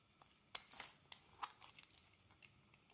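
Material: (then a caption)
Soap. A metal blade scrapes thin shavings from the flat surface of a solid green bar of soap held in the hand. It makes a quiet series of short, bright, crisp scraping and crackling strokes with little low end, each fading quickly.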